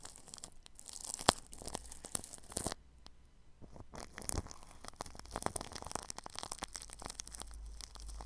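A microphone is tightly wrapped in clear plastic cling film, and the bristles of a paintbrush press, brush and scratch across the film at the grille. The result is a dense run of crisp crinkling and bright scratchy crackles, with a short quiet pause around the three-second mark before the brushing resumes.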